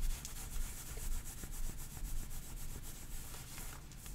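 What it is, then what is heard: Knit fabric leggings. Long painted nails and fingertips scratch and rub soft, thin heathered grey knit leggings with a white drawstring, worn on the legs over the thighs. The result is a steady, quiet, textured rasping hiss with a bright scratchy edge and a low rumble underneath, repeating in loose strokes about twice a second.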